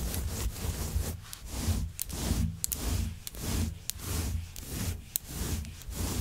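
Long nails rapidly scratch and pluck through the fibers of a grey long-pile synthetic faux fur rug. The result is a steady, rhythmic series of soft, rustling strokes over a low rumble, with occasional sharp, bright clicks as the nails catch the fibers.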